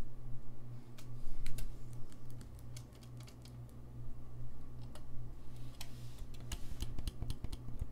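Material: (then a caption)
Brass. Fingertips tap and click the keys of a gold-lacquered brass saxophone in close-up, producing a quick, irregular run of short, bright clicks. The clicks sit over a steady low hum throughout.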